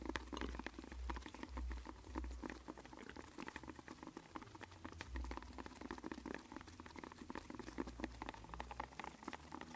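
A long, hollow, white and blue printed cardboard medicine box with a barcode is held in both hands and tapped and scratched with latex-gloved fingertips. The result is a dense, steady stream of quick, soft crackly taps and papery scratches over a low hum, with each tap dying out almost at once.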